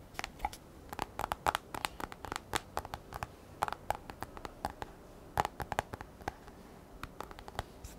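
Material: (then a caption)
Glass. Long fingernails tap and scratch the black glass touchscreen of an iPad held at a tilt. Dozens of quick, dry clicks and scrapes come in irregular bursts, each with a faint bright tick around 830 Hz. Every click dies away at once over a low, quiet background.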